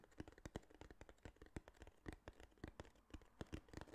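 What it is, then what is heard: Cardboard box. A small, flat, hollow tan kraft cardboard box held in the hand is tapped and scratched with fingertips and nails. The result is a quiet, rapid, irregular stream of dry, short taps with hollow low thumps and light scratchy rustling between them.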